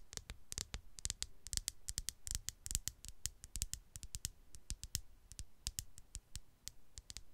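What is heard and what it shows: Long dark polished nails tap and scratch the hard glass-and-plastic body of a black smartphone with a glass back, held flat against a foam mic. A quick, irregular stream of dry, bright clicks with short thuds underneath, each dying almost at once, mixed with faint scraping between the taps.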